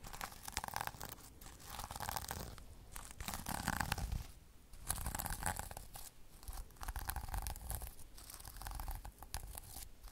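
Fingernails brush back and forth across a flat sequin-covered pouch and scratch its sequins, making a dense, crinkly rustle of rapid clicks and scrapes over a low rumble. The scratching comes in waves with a brief quiet dip near the middle before it resumes.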